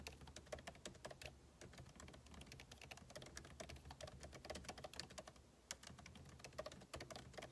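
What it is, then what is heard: Laptop keyboard being typed on. Two hands type with their fingertips on a backlit MacBook Pro laptop keyboard, its plastic keycaps set in a hollow aluminum case. The result is a quick, continuous stream of light, crisp key taps with bright clicks over a faint, steady low hum, and each tap dies away almost instantly.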